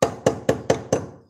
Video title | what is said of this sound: Dépose De Jambe De Force | ça sonne encore un peu un peu dur